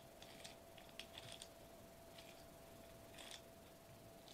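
Fingertips tap a foil-laminated plastic bubble wrap sheet lying flat on a table. The result is quiet clusters of bright, crisp, crinkly ticks with short pauses between them, over a steady faint hum.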